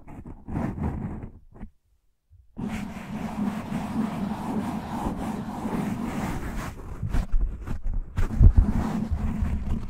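Fingertips and short nails scratch the top of a black foam windscreen on a desktop microphone, then both hands cup and rub the sides of the foam. Heavy, low, muffled scratching and rustling stops briefly for a near-silent gap around two seconds. It then returns as a continuous dense rubbing that grows louder with thumping bursts near the end.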